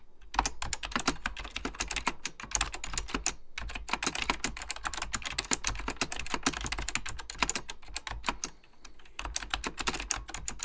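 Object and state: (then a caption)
Plastic mechanical computer keyboard. Fingertips type rapidly on an Apple Extended Keyboard II, a plastic mechanical computer keyboard with beige plastic keycaps and a hollow plastic case. A dense, continuous stream of sharp, bright key taps clatters with very short decay over a faint low hum. The typing briefly thins out for a moment near the end before picking back up.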